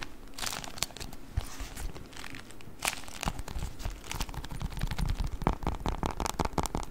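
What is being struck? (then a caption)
Beeswax-coated cotton wrap. A beeswax-coated cotton wrap is rolled and then crumpled in the hands. Dense, stiff crinkling and crackling runs throughout, with sharp bright snaps over a low, rumbling handling noise. It builds to a busier, louder stretch of crunching toward the end.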